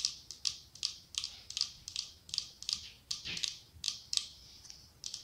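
Long acrylic nails tap a cylindrical glass candle jar filled with wax and decorated with autumn leaf decals. About twenty quick, bright clicking taps come in an uneven rhythm, each sharp and high-pitched with almost no low end. They decay almost instantly, with no lingering ring.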